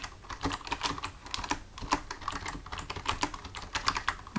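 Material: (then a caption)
Plastic. Fingertips of both hands type on a full-size black plastic computer keyboard resting on a desk, the hands staying on the keys throughout. A steady, quick run of short, dry plastic key taps and clicks is heard, with a louder tap right at the end.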